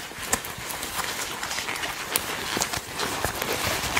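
Hands with long nails gather and squeeze a section of the sleeve on a black leather jacket, likely faux, crumpling it between the fingers. A steady, bright creaking and crinkling texture runs throughout, punctuated by sharper crackles, with little low end.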